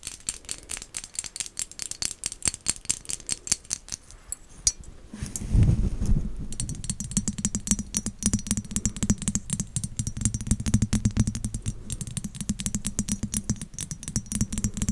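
A small, hollow, glossy black-and-white striped ceramic pumpkin decoration, held close to the mic, is tapped rapidly with long acrylic nails, producing sharp, bright clicks about four per second. Midway, a louder low rumble swells in, and the quick tapping continues over a steady low hum.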